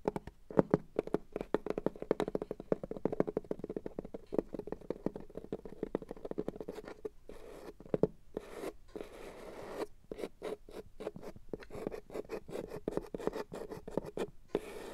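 Long matte black stiletto nails scratch and tap across the flat red felt lining inside a box. The result is a dense run of quiet, soft, dry taps and fabric scratches with a muffled mid-low tone, broken by a few brief pauses.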